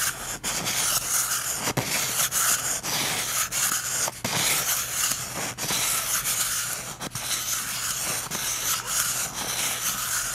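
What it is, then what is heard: Cardboard toilet paper tube. A short painted fingernail and fingertip rub and scratch the surface of a hollow, empty cardboard toilet paper tube. The result is a steady, bright, dry scratching and rustling, broken by brief quiet gaps as the strokes change, with almost no low end.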